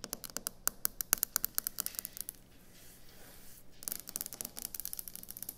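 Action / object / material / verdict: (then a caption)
tap / quartz stone kitchen countertop / quartz stone / none. Long acrylic nails tap and scratch on the flat surface of a solid white speckled quartz stone kitchen countertop. Quick, sharp, bright clicks come in a rapid burst, then fade into a softer scratching hiss in the middle. A second run of fast taps follows.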